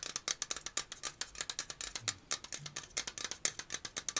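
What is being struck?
Metal aerosol can.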